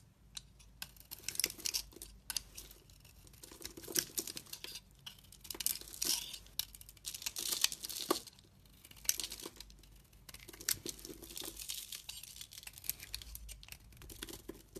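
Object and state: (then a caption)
Bar soap being shaved. A hand-sized solid bar of soap with a brown and gold outer coating and a green interior is held in one hand with long red nails while a utility knife blade shaves and scrapes it, cutting off chunks and flakes. Bright, dry scraping and crackly crumbling sounds come in repeated bursts with short pauses between them. The rustling cuts are high and crisp, with almost no low end.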